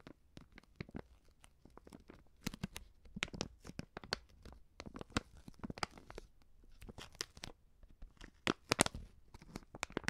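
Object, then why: Plastic film seasoning pouch. A hand-sized white plastic-film Coop Prix seasoning pouch filled with powder is held in both hands and crinkled and squeezed with fingertips and long painted nails. The result is a steady run of quiet, sharp crackles and crinkles, with bright, dry snaps that stop almost instantly, and a few louder bursts near the end.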